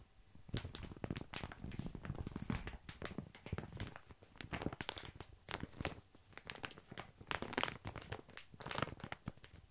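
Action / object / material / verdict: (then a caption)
scrape / padded paper mailer envelope / paper / none. A yellow, medium-sized padded paper shipping envelope with a bubble-padded lining and a printed label, hollow and apparently empty, is held in both hands close to the mic and squeezed and crinkled with the fingers. Dense, crisp crinkling and crunching comes in quick overlapping bursts, with sharp papery crackles over a soft low rustle. The bursts rise and fall irregularly throughout.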